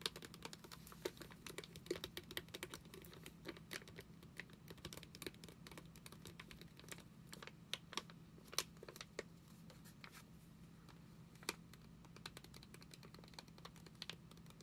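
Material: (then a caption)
Foil laminate. A flat foil-laminate Clorox wipes sachet is held in both hands and tapped and scratched with long nails. The result is a rapid, dense stream of crisp, bright clicks and scratchy crinkles that stop short, over a steady low hum.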